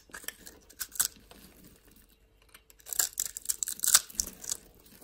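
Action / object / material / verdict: scrape / soap bar / soap / none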